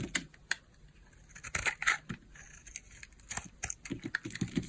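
A small, solid pink bar of hard soap, held in the palm, is carved with a utility knife blade that shaves off slices. The result is a series of crisp, bright scraping cuts at an uneven pace, each short and dry, with quiet pauses between them.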